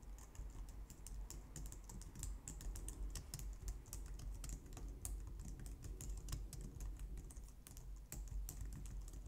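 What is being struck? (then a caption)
Plastic computer keyboard. Both hands type on a white plastic low-profile wireless keyboard, striking the keys with long painted nails and fingertips. A steady stream of quick, bright plastic clicks and taps runs over a low, constant rumble throughout.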